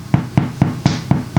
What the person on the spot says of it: you'll sharp know if it's ready, because it sounds hollow